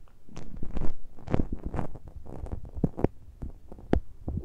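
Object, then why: Metal mesh microphone grille. Fingertips and nails scratch and tap the uncovered metal mesh grilles of the small X-Y microphone capsules on a handheld Tascam recorder. The result is a close, boomy stream of low rumbling scrapes and soft thumps, with brief sharper ticks and brighter edges mixed in.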